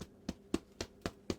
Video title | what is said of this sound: French Bread- prep in a food processor | tap it. Should sound hollow.